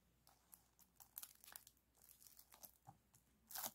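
Hands squeeze, press and rub the crinkly foil folds of a silver aluminum foil flexible ventilation duct with spiral wire, compressed into a short, hollow, empty ring about hand-width wide and resting on a blanket. A quiet series of short, bright crunches and crinkles follows, with sharper bursts around the middle and a loud, high crunch near the end.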